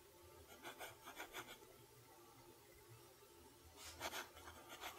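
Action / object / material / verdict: scrape / lined notebook paper under a steel pen nib / paper / none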